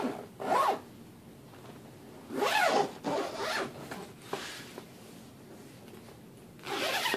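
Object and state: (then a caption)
Suitcase zipper being pulled. A hand drags the metal zipper pull around the lid and pocket seams of a large, closed, hollow black fabric suitcase. Five separate raspy zipping runs are heard, with quiet gaps between them, and each run has a bright, gliding pitch that rises and falls.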